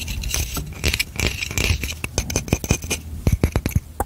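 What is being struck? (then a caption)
Hand-sized hourglass with a wooden frame and glass bulb. A hand-sized hourglass with a light wooden frame around a glass bulb of yellow sand is held in one hand and tapped and scratched on the frame with long manicured nails. A quick, irregular run of short, dull knocks with a deep low thump fades almost instantly, mixed with bright, dry scratching between the taps.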